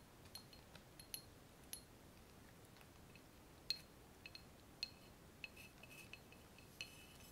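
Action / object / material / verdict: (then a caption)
tap / glass laboratory tube adapter / glass / none. A long, clear glass laboratory tube adapter, hollow and empty with frosted ground-glass joints, is held while fingers and nails tap along it. The sound is a quiet, irregular series of sharp, high, bright glassy clinks that die away almost instantly, over a low steady hiss.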